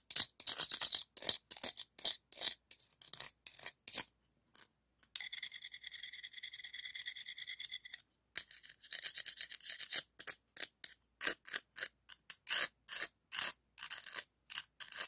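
A hand-sized, hollow, empty pink-white ribbed scallop shell is held in the fingers while a second dark scallop shell is rubbed and scratched against its ribs. The result is bright, dry shell-on-shell scraping in quick bursts with almost no low end. A longer, steadier rasp with faint tonal streaks comes in the middle.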